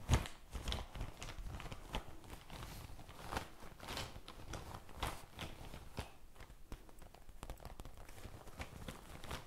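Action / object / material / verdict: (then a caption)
tap / soft faux leather zippered pouch / faux leather / none. A medium pink faux leather zippered pencil-case pouch with a gold zipper, hollow and soft-sided, is held close to a microphone and tapped and scratched with long painted fingernails. The result is a quiet, bass-heavy stream of soft, dull taps mixed with crackly, crinkling scratches that die away almost instantly.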